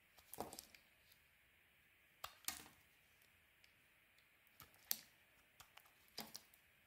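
A metal blade carves crisp chunks from a solid, oval, pale green soap bar held in the hand. Sharp, dry clicking cuts and small crackling bursts come at irregular intervals, bright and quiet with almost no low end. Each cut stops instantly, with no ring.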